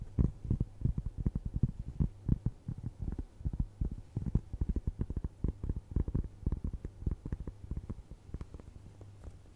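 A round, flat, solid cork trivet is held in front of a microphone and scratched and tapped with long nails. The result is a dense stream of soft, dull, muffled taps and scratchy rustles, heavy in the low end with almost no brightness, over a faint steady low hum.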